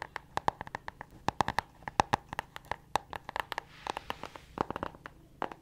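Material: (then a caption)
Cardboard. A small spiral-bound notebook with a pink cardboard hardcover is held in both hands and tapped and scratched on its cover with long acrylic nails. About thirty quick, dry clicks land in irregular bursts, each with a hollow mid-range tone and almost no ring. A soft, hissy scratching swells in between around the four-second mark.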